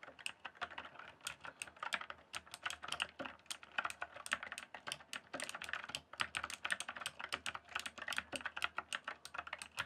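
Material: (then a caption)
Plastic. Fingertips type steadily on the keys of a full-size backlit plastic RGB computer keyboard. The rapid, short clicks and clacks are bright and dry, each dying away almost at once, with very little low end.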